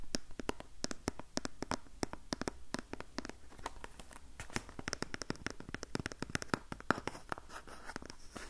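Long painted nails scratch quickly along the front of a small printed cardboard box of facial sheet masks held in the hand. The result is a rapid series of short, dry scratching clicks centered around 1.4 kHz, with bright edges and almost no ring after each stroke.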